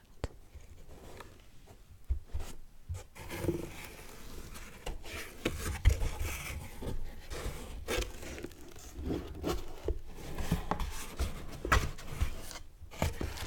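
Two hands with painted nails unfold and bend the flaps of an empty, flat brown corrugated cardboard mailer box that turns hollow once folded, rubbing and creasing the cardboard while scissors sit unused nearby. Close, quiet scraping, crinkling and tearing-like rustles mix with soft, low, hollow thumps and sharp creasing snaps throughout.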